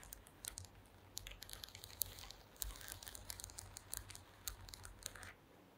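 Long green acrylic nails tap across a woven wooden slat mat resting on a table. The result is a quiet, irregular run of crisp, bright clicks with a dry, crinkly edge, over a faint low rumble.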